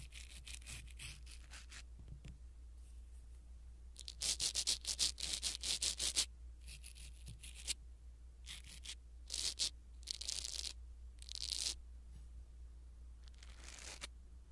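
A small black foam windscreen on a pin microphone is rubbed with a blue silicone-bristle ear pick. The result is soft, bright, brushy scratching and rustling in bursts, some quick and some drawn out, over a faint low hum.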